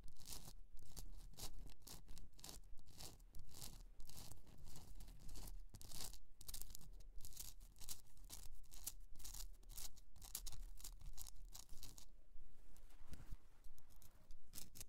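Long nails scratch the rough surface of a hollowed pink Himalayan rock-salt candle holder, first resting on fur and then tilted in a hand. A dense, gritty, bright scraping runs in quick, fairly steady strokes throughout, with a low rumble beneath.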